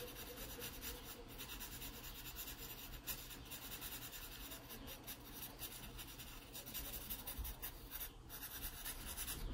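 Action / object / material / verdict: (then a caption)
scrape / graphite pencil on paper sketchbook page / paper / none. A graphite pencil makes shading strokes on the page of an open paper sketchbook. A steady, soft scratchy rubbing with bright hiss runs throughout, over a low background rumble, with brief rises in texture as strokes change.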